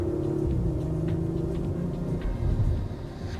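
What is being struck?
Nothing is struck.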